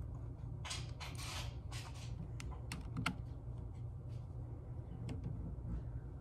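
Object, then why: Plastic computer keyboard. Fingertips with long acrylic nails type and tap on the hard plastic keys of a full-size plastic computer keyboard. Quick, bright clicks and clacks come in scattered bursts over a steady low hum.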